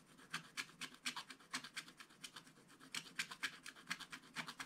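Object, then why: Wooden stylus on coated scratch-art paper. A wooden stylus scratches and rubs the black coating off a scratch-art card page in a spiral book. It makes a quiet run of short, bright, rasping strokes at an uneven pace of roughly two per second, with a faint low rustle between them.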